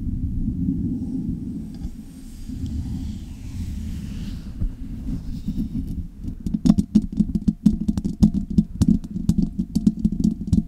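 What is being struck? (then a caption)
Metal mesh microphone grille and body. For about six seconds, handling of a Blue Yeti metal USB condenser microphone's stand base makes a low, muffled rumbling through the mic. Long red nails then scratch the microphone's hollow metal mesh grille and metal body, producing a rapid run of sharp, dry clicks and scrapes with very short ring over a boomy low hum.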